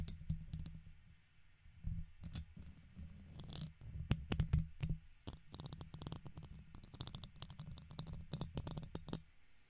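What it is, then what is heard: Metal microphone mesh grille. A red plastic guitar pick repeatedly scratches and taps the side of a silver microphone's hollow metal mesh grille. Irregular dry clicks and short scraping bursts carry bright, high transients over a heavy low-end rumble, with no ring after each contact.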